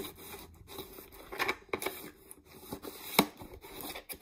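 Long nails tap and scratch the sides and label of a clear, mostly empty plastic peanut jar. Soft, bright scratching runs throughout, broken by sharp, hollow plastic taps, with one louder click near the end.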